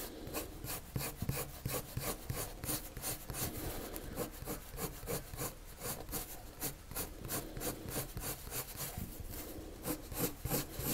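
A pale colored pencil shades a circle on a flat white sheet of drawing paper with quick scratching strokes. Each stroke makes a dry, bright rasping scratch, repeating about three times a second in a loose, uneven rhythm over a soft low rumble.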